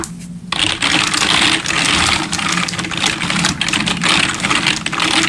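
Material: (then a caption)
Plastic. Both hands type quickly with their fingertips on a full-size black plastic RGB gaming keyboard, backlit with a hollow plastic body, resting on a wooden desk. After a brief quiet start, a dense, continuous stream of bright, clicky key taps fills the rest of the clip.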